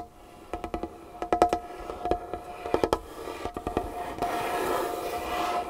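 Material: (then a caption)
Wood. Long painted fingernails tap and scratch across a large, solid, varnished wooden tabletop. A quick run of sharp, short taps, each with a brief woody ring near 700 Hz, gives way to a steady, brighter scratching rasp in the last seconds.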